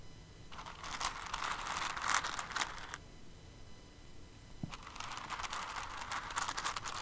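Fingertips and nails dig into and stir an open clear container full of flat-back plastic rhinestones held in the palm. Two stretches of dense, bright clicking and crinkly rattling are heard, separated by a quieter pause of about a second and a half near the middle.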